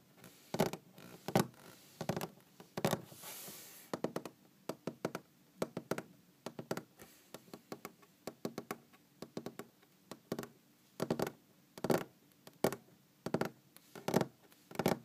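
Long green-painted fingernails tap on a large, solid wooden tabletop, heard up close. The taps are short, dry knocks with almost no ring, falling in an irregular, uneven rhythm of quick clusters and louder single strikes. A brief soft hiss of noise sits under them near the three-second mark.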